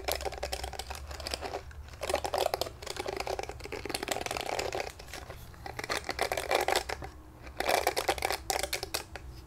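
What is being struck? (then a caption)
Plastic hairbrush bristles. Fingertips strum and scratch across the short, flexible plastic bristles of a small pink glittery plastic detangling brush held in both hands in front of a wig. Dense, rapid crinkly ticking and scratching comes in uneven bursts with short pauses, centered in the midrange with a bright edge. A faint steady low hum sits underneath.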